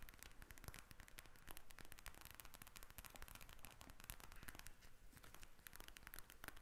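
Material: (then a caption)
Plastic. A pink gel-bead eye mask with a plastic cover lies flat and is tapped and scratched with long red nails from both hands. A quiet, continuous stream of rapid, crackly clicks and taps runs throughout, with short sharp transients and a soft scratchy hiss between them.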